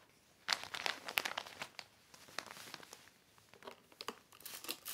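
A black heavy plastic sheet is smoothed by fingertips and wiped with a yellow cloth. Dry, bright crinkles come in irregular bursts, with sharp crackly snaps and quieter rustling between them.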